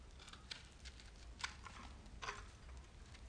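A solid speckled bar of soap, held in the hand, is scraped and cut along its side with a metal knife blade, and crumbs fall off. Soft, dry, crisp scraping bursts with bright edges come and go over a faint low hum, each fading quickly.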